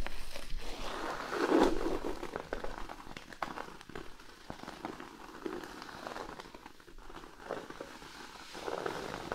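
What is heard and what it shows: A large, flat, thin cork sheet lying on a blanket is scratched with the fingernails of both hands. The result is a dense, uneven stream of dry crackling scrapes with a midrange body. It swells loudest near the two-second mark, then settles into steadier scratching before rising again at the end.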